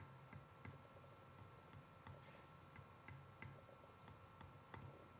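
Clarinet lower joint B pad keys, bent with two gentle pushes, are tapped in turn to compare them, giving a series of soft, low-pitched pops. The two pads now sound much closer in pitch, with neither lower than the other, showing both pads now seal.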